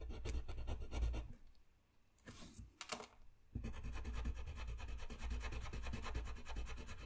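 A dark blue colored pencil scratches and rubs over a thin, solid sheet of flat white drawing paper resting on a desk, in quick, dense coloring strokes. The steady rasping pauses for about two seconds, with only a few soft, brief rubs, then resumes at the same busy pace to the end.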